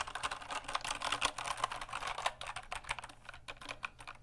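Fingertips tap fast on the keycaps of a full-size black plastic mechanical keyboard with RGB backlit keys and a hollow case, held up beside and in front of the mic. A quick, dense run of sharp, bright clicks with little low end centers around 1 kHz, each click dying almost instantly.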